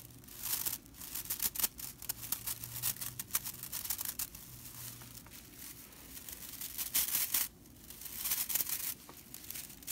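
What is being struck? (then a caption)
Straw whisk broom bristles. Fingertips and long nails scratch and rake across the bristle ends of a small hand-held whisk broom, a flat bundle of dry straw bristles. The result is a steady, bright, dry crackling and rattling rasp, with denser, louder rakes swelling near the end of the clip. A faint low hum sits underneath.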